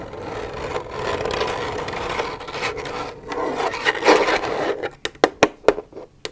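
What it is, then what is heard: Empty plastic milk jug, hollow. Long nails scratch steadily across an empty, hollow plastic milk jug, making a rough, hissing scrape with a hollow resonance in the mids. Near the end the scratching gives way to a few sharp, separate taps on the jug that ring only briefly.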